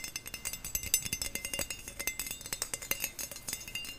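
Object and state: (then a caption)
Stainless steel skimmer spoon. Fingernails rapidly tap and scratch across the thin, flat, perforated bowl of a stainless steel skimmer spoon with a handle. The result is a quick, dense stream of bright metallic clicks and scrapes with very short ring, mostly high in tone with little low end.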